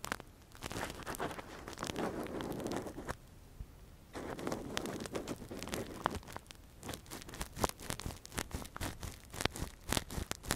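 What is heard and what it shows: A gloved hand scratches and probes inside the hollow canal of a soft, translucent, hand-sized silicone ear model covering a binaural microphone, using a thin metal earpick. Close, crinkly scraping and rustling come in dense bursts, broken by a brief quiet pause. Sharper, bright clicks and taps follow in quick succession.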